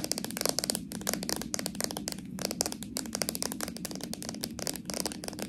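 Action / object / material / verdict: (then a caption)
tap / small plastic slime jar with metal lid / plastic, metal / none. Long nails rapidly tap the plastic body and the metal lid rim of a small, full slime jar with a metal lid. The taps are crisp, bright clicks that die away almost instantly, in a fast, uneven stream over a steady low murmur.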